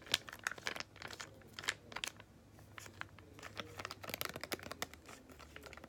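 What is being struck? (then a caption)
Small laminated foil-plastic sachet. A small, flat yellow Freeman clay mask sachet of laminated foil-plastic, apparently filled, is held in both hands and squeezed and crinkled with the fingertips and long painted nails. The result is a quiet run of sharp, bright crinkles and crackles that come in clustered bursts with brief pauses, each snapping off almost instantly.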